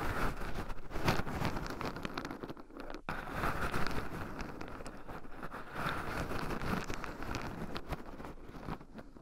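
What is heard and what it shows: Two wooden chopsticks stir and poke into a small wooden bowl heaped with raw shelled pine nuts, with two black microphones buried in the pile so the nuts also rub against them. A steady, close, low-heavy stream of crunchy rustling, crackling and scratching runs throughout, with soft clicks and a brief dip near the three-second mark.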